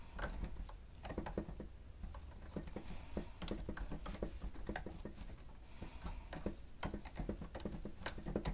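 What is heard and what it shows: Fingertips strike the grey plastic keys of a stenotype machine in fast chord typing, touching only the machine. Quick, quiet clicks and soft thuds come in irregular bursts, each with a low body and a bright tick that dies away almost at once.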